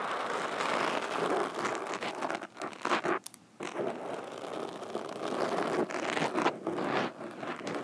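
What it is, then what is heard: Foam microphone windscreen scratched with metal fingerpicks. Metal fingerpicks scratch and tap the surface of a black foam windscreen over a microphone. The result is a dense, continuous crinkly rustle with close, dry scratching across the mids, broken by a brief quiet gap a little past the three-second mark before the scratching resumes.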